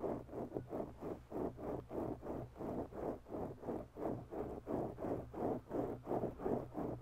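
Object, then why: Foam microphone windscreen. The tips of long, bare natural nails on both hands slowly scratch a soft, oval black foam windscreen on a microphone. The result is a steady, rhythmic series of muffled scratching strokes, about three per second. They have a warm, low-mid rasp and little bright content.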